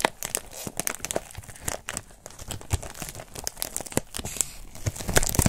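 A thin, white, textured foam wrap sheet is bunched in the hand while fingers crumple and rub it. The result is a steady, irregular stream of short, dry crinkles and tearing-like crackles with a bright hiss on top. Each crackle stops almost instantly, with louder pops near the end.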